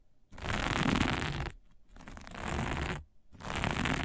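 Long natural nails scratch and rub a flat sheet of dark sequin fabric with plastic sequins lying on a table. Three rough, bright scraping bursts are heard, a dense rustle of clicking sequins with a low rumble beneath, separated by brief quiet gaps.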